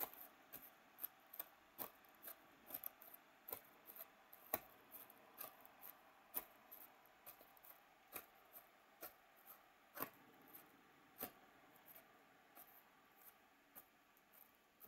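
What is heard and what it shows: A thin pointed stick scratches and pokes inside a cell of a white, hollow, molded polystyrene foam packaging tray. Quiet, dry scratching runs under a steady series of short, sharp ticks and squeaky clicks with bright edges and almost no low end.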